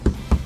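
Two knocks on the repainted steel door panel of a used Hyundai Sonata DN8 give short, low, dull thuds that die away quickly. The panel shows no hollow ringing tone, so the repaint is sound and the door has no problem.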